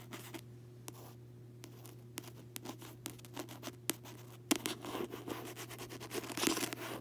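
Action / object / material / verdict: scrape / paperback book with glossy card cover / card / none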